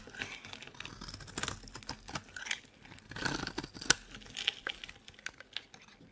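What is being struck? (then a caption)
Bar of soap cut with a metal blade. A metal blade carves into a solid, dry green bar of soap, and chunky crumbs break off. The sound is a run of dry, bright, crunchy scrapes and crackles at an irregular pace, with a few sharper snaps standing out. There is little low end and almost no ring after each cut.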